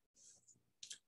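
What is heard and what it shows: Knuckles rap a wooden puzzle cube kept at a desk, a "knock on wood" superstition gesture made on real wood. The knocks come out as quiet, bright, dry clicks with almost no ring. The last two, close together, are the sharpest.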